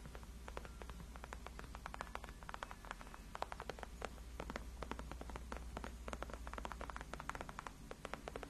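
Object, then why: Padded faux leather chair backrest. Long acrylic nails scratch and tap across the backrest of a large white padded faux-leather (PU) gaming chair, which is solid and cushioned. A quick, steady run of short, crisp ticks and soft scratches sits over a constant low hum. Each tap dies away almost instantly.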